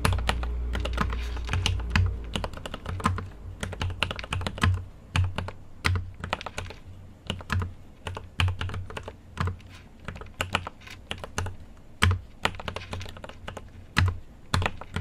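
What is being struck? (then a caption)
Mechanical keyboard with plastic keycaps and aluminium case. Fingertips type steadily on a mechanical keyboard with an aluminium case and plastic keycaps. It makes a dense stream of short clacking keystrokes with a deep, low thud under each press and brief bright clicks on top. The pace runs uneven, with occasional louder taps.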